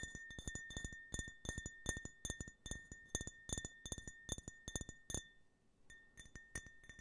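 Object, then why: Small glass tumbler. Fingernails tap a small, empty, hollow glass tumbler printed with the American flag while it is turned in the hands. The result is a quick, uneven run of sharp clinks, each leaving a steady bright ring near 1.8 kHz over a faint low thump. After a brief pause near the end, the tapping resumes softly.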